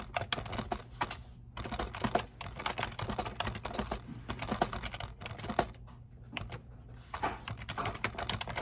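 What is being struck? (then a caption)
Plastic computer keyboard. Fingertips type continuously on a black plastic computer keyboard resting on a desk, producing rapid, dry clicky keystrokes with a steady low hum underneath. The typing comes in bursts with brief pauses, and each key strike is short and sharp with almost no ring.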